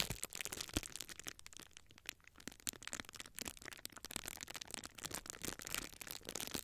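A small clear plastic bubble wrap sheet is held in both hands while fingers twist, squeeze and crush the air-filled bubbles along its top edge. Dense, bright crinkling fills the clip, broken by many sharp pops and crackles as individual bubbles burst.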